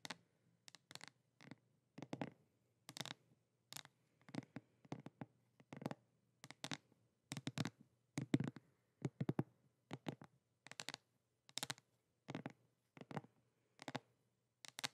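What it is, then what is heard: Cardboard palette box. Long nails scratch and tap a flat, thin, hollow pink printed cardboard palette box held up in the air. The result is quiet, dry, bright scratchy taps that come in irregular short clusters, each dying away almost instantly, over a faint steady low hum.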